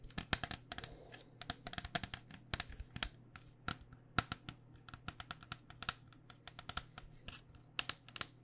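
Long painted nails tap rapidly and irregularly on a white cycling helmet, a hollow, vented hard plastic shell over foam. About 34 light, bright clicks sound, each dying away almost instantly, over a faint steady low hum.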